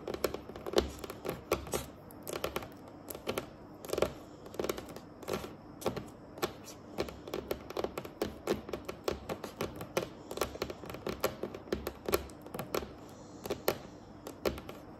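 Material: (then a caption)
Wood. Long acrylic nails on both hands tap across a large, solid, dark and glossy varnished wooden tabletop. Many quick, separate clicky taps sound with bright edges and a short, dry decay, falling in an uneven, typing-like rhythm over a faint steady background.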